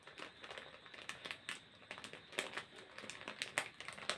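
A small, thin, flexible printed plastic snack packet is held in both hands and crinkled and scratched with the fingertips. Quick, dense bursts of bright crinkling and crackling follow one another throughout, with almost no low end. Each sharp crackle dies away almost instantly.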